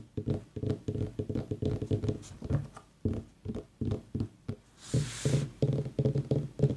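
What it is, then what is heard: Pumpkin tapped. A pumpkin is tapped in a quick, irregular run of dull, hollow knocks with a low pitch and almost no ring. A short burst of bright hiss, like a brush or rub across the surface, comes near the end before the tapping resumes.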